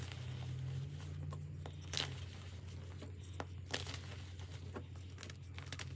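Bare hands squeeze and crush crumbly pieces of reformed pink gym chalk in a pile of loose pink powder and broken chunks, with molded chalk shapes sitting untouched nearby. Soft, dry crunching and gritty crumbling are heard, with a few sharper crackles, as the solid chalk falls apart into powder over a steady low hum.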